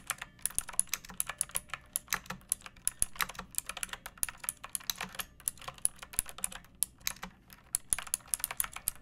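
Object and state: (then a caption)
Plastic mechanical keyboard. A pink plastic mechanical keyboard with round backlit keycaps and a hollow body, resting on a wooden surface, is typed on with long painted nails and fingertips. A steady run of about fifty quick, bright, clacky keystrokes follows, each dying away almost instantly, over a faint low hum.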